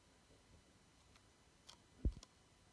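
A white iPhone 11, a small solid phone with a glass front and back and an aluminium frame, is held in one hand while fingertips tap and touch the screen and then the glass back. After a quiet, faintly rustling stretch, four soft, short, dull taps come close together, the loudest a low thud that stops almost at once.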